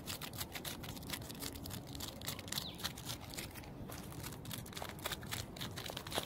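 Fingertips and nails scratch and rub the rough, thick bark of a large, solid living tree trunk outdoors. Quiet, dense scratching and crackling sounds come in quick, irregular bursts, with sharp high rasps over a low rumbling bed.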